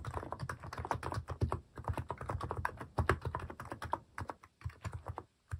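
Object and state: Plastic mechanical keyboard.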